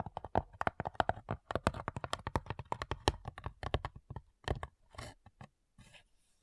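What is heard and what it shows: Long nails tap and scratch the top lid of a small, hollow, light-wood cigar-style box with brass clasps. A rapid run of crisp, dry taps with a hollow mid-range knock and almost no ring slows in the last seconds into sparser, softer scratching strokes.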